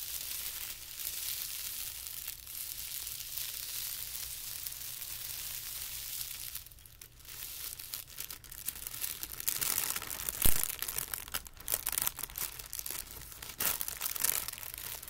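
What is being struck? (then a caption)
Thin tissue paper sheet. Fingertips press on a large, thin, white patterned tissue paper sheet lying on carpet, giving a soft, steady, bright crinkling hiss. After a brief lull, the edge is lifted and folded over, producing louder, uneven crackles and crumpling rustles with one sharp snap near the middle.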